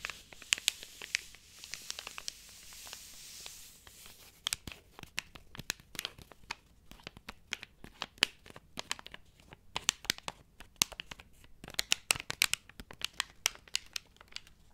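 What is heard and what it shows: Fingertips and long nails tap and scratch the cover of a large, solid, grey cloth-covered hardcover book held upright in one hand. Quick, sharp, bright clicks scatter irregularly throughout, over a soft, hissy scratching that is most noticeable in the first few seconds. The sound is dry and crisp, with almost no low end and no ring after each tap.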